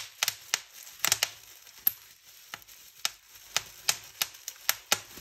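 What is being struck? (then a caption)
Plastic bubble wrap sheet. Fingertips and nails pinch a clear plastic bubble wrap sheet, popping its bubbles in 13 sharp, bright snaps spread irregularly over about five seconds. Each pop is dry and very short, with soft crinkling of the plastic between pops.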